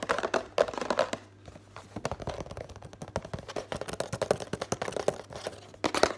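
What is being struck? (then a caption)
Printed thin cardboard box. Fingertips and nails rapidly tap and scratch the front and sides of a hollow Complan drink-powder box made of printed thin cardboard, held up in the air. The result is a dense, fast stream of dry, hollow taps and papery scratches with short ringing, centered in the midrange, and a few sharper, louder hits stand out.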